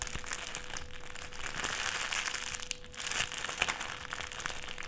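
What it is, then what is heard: Clear plastic sheet being crinkled. A small folded wad of clear plastic sheet is squeezed and crinkled between the fingertips. The result is a steady, dense stream of bright, crackly crinkles with sharp snaps, dipping briefly just before the three-second mark. A faint steady hum sits underneath around 500 Hz.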